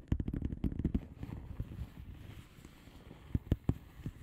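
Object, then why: Padded envelope with plastic bubble wrap. Long polished nails of both hands tap and scratch the plastic bubble wrap surface of a flat padded envelope. A quick run of sharp, dry clicks opens the clip, then it settles into a soft, low rustling scratch. A few louder taps stand out near the end.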